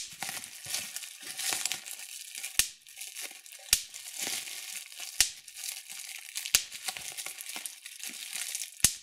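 Fingertips pinch and pop the bubbles in a sheet of clear plastic bubble wrap. Steady bright crinkling of the plastic runs throughout, broken by five sharp, high pops that cut off almost instantly.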